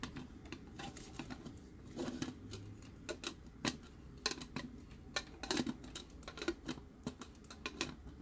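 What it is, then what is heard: Plastic tumbler, empty. Fingertips tap and rub the body and domed lid of a clear plastic Disney tumbler with a straw, held in both hands; it is hollow and empty apart from figurines inside its wall. Irregular, quick, dry taps with bright clicky tops die away almost instantly. Softer rubbing fills the gaps between them.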